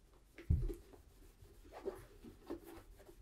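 A cloth wrapped around the fingers rubs the toe and upper of a tan polished leather brogue boot (a Tricker's Stow boot in Acorn), held hollow and empty in one hand. A soft, low, muffled thump opens a series of quiet rubbing and brushing strokes against the leather, with little brightness.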